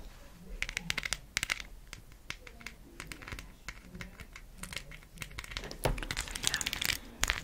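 A round, palm-size cork coaster, a solid flat disc with raised gold-painted plastic letters glued on, is held in one hand and tapped and scratched with long acrylic nails. Quick, dry, bright clicks and taps mix with rough scratching and crinkly rasps that stop almost at once. A faint low hum sits underneath, and the sounds grow busier and louder toward the end.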